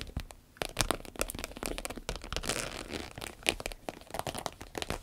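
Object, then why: Vinyl zippered pouch. Long red nails tap and scratch the top and sides of a small green-yellow vinyl zippered pouch. The result is a dense run of short, crisp taps mixed with bright, crinkly scratching, with a brief quiet stretch near the start and a few louder, sharp clicks.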